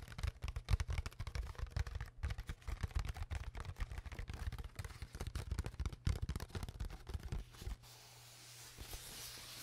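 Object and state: Empty plastic water bottle.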